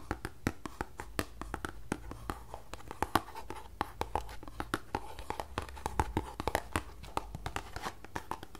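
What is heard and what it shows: Fingertips and long nails tap and scratch the faces and edges of a small closed green paperboard tea box held close to the mic. The result is a quick, irregular run of sharp, dry clicks with a hollow papery knock around 1 kHz. Soft scratching and a faint low steady hum run between the taps.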